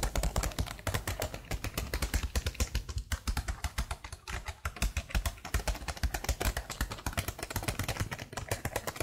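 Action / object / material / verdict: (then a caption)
tap / plastic laptop keyboard keys / plastic / none. Long blue nails type continuously on the letter keys of a black plastic laptop keyboard. A steady run of short, dry clicks follows, with a low thump under each press, a bright tick on top, and almost no ring between strokes.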